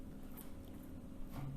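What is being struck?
Nothing is struck.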